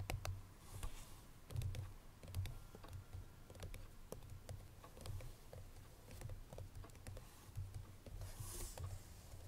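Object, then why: Paperboard perfume box. Long nails tap on the front face of a hollow cream paperboard Chloé perfume box that holds its bottle. The result is a quiet, continuous run of quick, dry taps and clicks with a soft low, hollow thump beneath bright click edges. Each tap dies away almost instantly.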